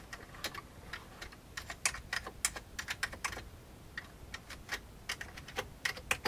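Fingertips of both hands type on the keys of an old beige plastic computer keyboard. Quick, bright plastic clicks come in an uneven run with short pauses, each tap dying away almost at once over a faint low hiss.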